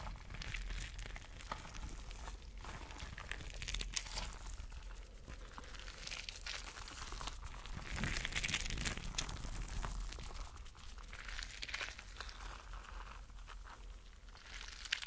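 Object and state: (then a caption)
Rubber mesh stress ball with gel beads. Fingertips rub and squeeze a spiky clear rubber mesh stress ball filled with colorful gel water beads. The result is a continuous, quiet, bright crinkling and squishing texture with dense rapid ticks, swelling slightly louder in the middle.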